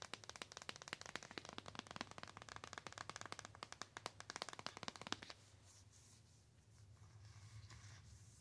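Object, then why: Printed cardboard box. Long nails tap quickly on a flat white-and-gold printed cardboard palette box, making a dense run of sharp, dry clicks for about five seconds. The tapping then gives way to a quieter, bright scratching and rubbing across the cardboard until the end.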